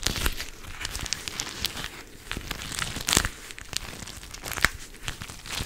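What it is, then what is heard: Plastic gel-bead pad crinkling. A teal-rimmed clear plastic cooling pad filled with gel beads is squeezed, scratched and bent close to the mic with long nails and fingertips. It makes a dense, bright crinkling and crackling with quick sharp clicks, and a few louder snaps stand out, most strongly near the end.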